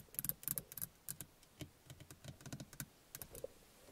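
Fingernails tap on the small, hollow plastic housing of a car rearview mirror. A quick, irregular run of light, sharp clicks carries bright high ticks over a soft hollow low knock. Each tap dies away almost instantly at a quiet level.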